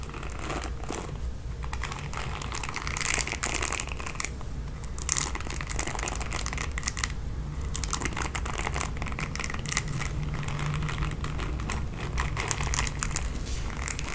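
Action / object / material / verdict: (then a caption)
scrape / plastic paddle hairbrush with bristles / plastic / none. Long nails scratch and flick the bristles of a red plastic paddle hairbrush, making a dense run of quick, dry crackling clicks and rasps. The sound is bright, with a low hum underneath, and it continues steadily for the whole clip.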